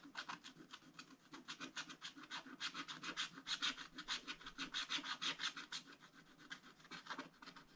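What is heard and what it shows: A wooden stylus rubs and scratches back and forth across a black-coated scratch-art book page, filling in an area in the upper right. The result is a fast, slightly uneven series of dry, bright scratching strokes, about two per second, with little low end.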